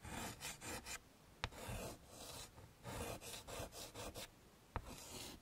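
Chalk draws petals and leaves on a wood-framed chalkboard in bursts of dry, rasping scratching strokes with a bright hiss. Two sharp taps cut through the quieter gaps between strokes.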